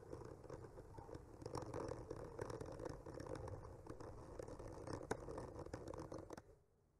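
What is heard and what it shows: The tip of a bamboo skewer slowly traces and scratches across a solid wooden panel painted with trees. A soft, continuous dry scraping runs throughout, peppered with tiny crisp ticks, then fades to near silence at the end.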